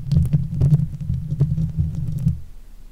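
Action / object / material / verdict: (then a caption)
scrape / steel mesh microphone grille / steel mesh / none. Long nail tips scratch across the top of the hollow steel mesh head of a silver Blue Yeti microphone. The result is a dense, low, rumbling scrape around a 125 Hz hum, with faint bright ticks over it. It steadily fades out toward the end.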